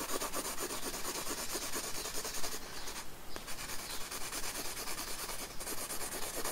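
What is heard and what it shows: The side of a pencil lead is rubbed back and forth across a paper sketchbook page resting on a wooden desk to shade hair. The result is a steady, bright, scratchy rubbing with quick repeated strokes at roughly two per second, easing briefly near the middle before continuing.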